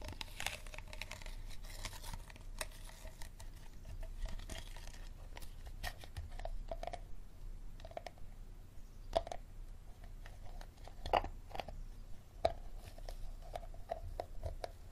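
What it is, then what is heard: Empty plastic water bottle. Fingernails scratch and tap the star-shaped ridged base and sides of a small, empty, clear plastic water bottle. Crinkly scraping mixes with light, quick taps that give a short hollow tone around 830 Hz over a steady low rumble. Each tap dies away almost at once.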